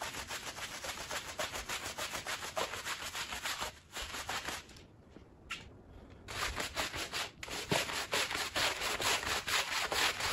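A green plastic push broom scrubs a small, wet, foamy woven fabric rug. It makes quick, rhythmic, bright scratchy strokes at about two per second. The scrubbing drops to a quiet pause for about a second and a half midway, then resumes louder.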